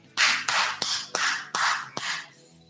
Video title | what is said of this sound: Ep105 - Charcuterie Boards (with Tammy Pescatelli) | the sound of a new kitchen table that doesn't soak up sound